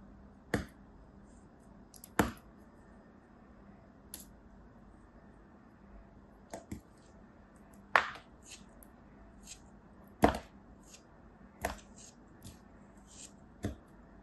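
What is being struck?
Molded kinetic sand shape cut with a knife blade.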